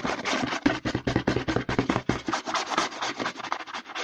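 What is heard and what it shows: Short nails quickly scratch the label and side of a hollow white plastic CeraVe lotion bottle held upside down. The result is a fast, irregular run of dry, papery scratching bursts with short gaps between them, spread from a low hollow body up to a bright, hissy top.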